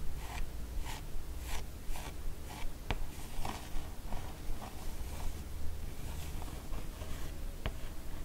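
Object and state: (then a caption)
Hardcover comic book with matte cardboard cover. Long orange nails trace and scratch around the character artwork on the matte cardboard cover of a large, solid hardcover comic album, "Les carnets de Cerise," lying flat. Soft, dry scratching strokes repeat at a steady brushing pace, broken by a couple of brief sharp ticks, over a low, steady rumble.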